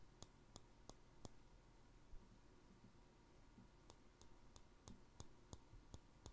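A small, empty, clear glass jar with a green plastic handled lid is held in one hand and tapped on its glass side with fingertips and nails. Twelve short, bright clicks ring out: four in a quick row, a pause of about two and a half seconds, then eight more at a steady pace. Each click dies away almost instantly over a soft, low background hum.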